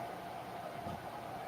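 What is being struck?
Nothing is struck.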